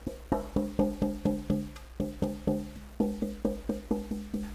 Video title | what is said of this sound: Guy Rabut, Violin Maker | you thump on it and you hear kind of hear how it rings